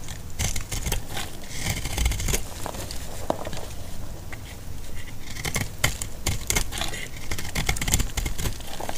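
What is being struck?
Soap bar cut with a metal blade.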